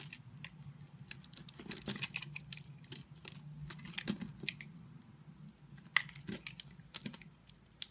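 A solid multicolored bar of soap, held in a hand with long white nails, is scored and scraped into small cubes with a utility knife blade. Irregular crisp scraping and clicking cuts come in quick bursts, with bright high-frequency crackle over a low hum. The many short sharp strokes continue steadily throughout.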